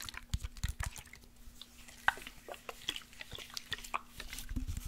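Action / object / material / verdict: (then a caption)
tap / glass spray bottle with liquid / glass / none. Fingernails tap a tall glass body spray bottle with a lace print, partly full of orange liquid, while it is tilted. Dense, quick, light clicks and ticks follow one another with short, dry decays, alongside soft low thuds, over a faint steady low hum.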